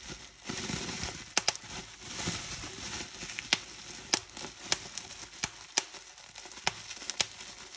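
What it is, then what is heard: Plastic bubble wrap. Clear plastic bubble wrap is bunched in both hands while fingers with long painted nails squeeze and pop its bubbles. Sharp, bright pops ring out one by one over a steady high crinkling rustle of the plastic.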